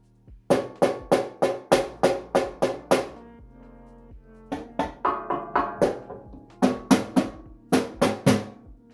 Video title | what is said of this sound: Vulcan SC-350 Sheet Cutter Webinar 4-14-2022 | you can hear how solid this machine is